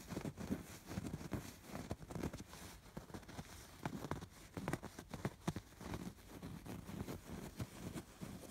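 Fingers scratch across the raised, stitched embroidery of a soft stuffed fabric pillow. The result is a quiet, low, muffled rustle broken by many short, soft scrapes and taps that fade almost instantly.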